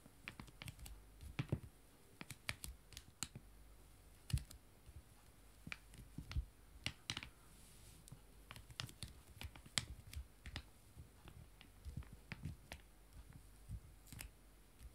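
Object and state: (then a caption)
Foil-lined paper wipe sachets, full. Two small, flat, sealed disinfectant wipe sachets of foil-lined paper, full and joined side by side, lie on a table and are tapped and scratched with long painted nails and fingertips. The result is a steady run of short, dry, clicky taps with soft low thumps and bright crisp ticks. A few brief crinkly scratches mix in over a quiet background.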